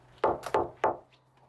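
Four knocks, the second softer, land on the 1.6 mm thick steel wall of a house built from shipping containers. Each gives a dull, muffled thud centred in the midrange that dies away quickly. The thick steel keeps the sound dull rather than thin and tinny.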